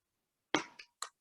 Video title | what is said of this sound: Meal Prep Demo | you can hear how crispy of a shell that is